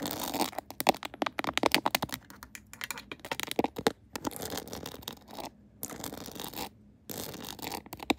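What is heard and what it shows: Long acrylic nails tap rapidly and scratch the back of a mounted phone in a clear plastic case decorated with pearls and rhinestones. Dense bursts of sharp, bright clicks and crisp scratching run in quick clusters, separated by a few brief quiet gaps, and end in a stretch of softer rustling scrapes.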